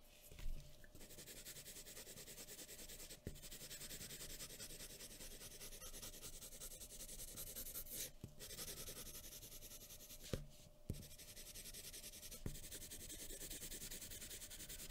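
A graphite pencil tip is rubbed and scratched rapidly across a large, thin sheet of white drawing paper lying flat on a wooden table, with a folded paper sheet under the hand, to shade hair. The result is a steady, quiet, dense scratchy hiss with bright texture, broken by a few sharper soft knocks and a faint constant tone underneath.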